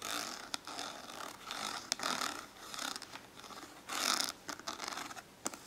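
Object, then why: Ribbed plastic index card case. Long acrylic nails tap and scratch a small hollow translucent orange ribbed plastic index card case resting on paper. Bright, hissy scraping swells come and go, broken by sharp, quick clicking taps that die away almost instantly, with little low end.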